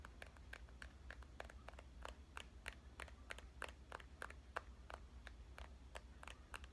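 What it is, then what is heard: Compact digital camera tapped with fingernails. Fingernails tap rapidly across the back display and body of a small, hollow red compact digital camera with a metal and plastic body. Each tap gives a dry, sharp click that dies away almost at once, over a steady low hum.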